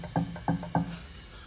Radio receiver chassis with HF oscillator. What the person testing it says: you can hear this thing when I tap it